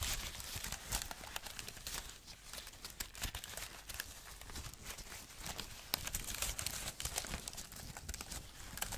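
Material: Aluminium, plastic.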